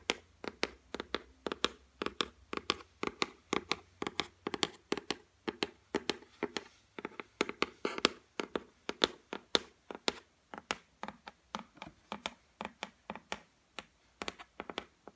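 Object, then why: Laminated particleboard shelf tapped with fingernails. Long white acrylic nails tap and drum on the flat top of a solid white laminate shelf, making about 58 sharp, dry clicks in uneven rhythmic bursts over 15 seconds. Each tap is short and bright with almost no ring, centred around 380 Hz and with little low end.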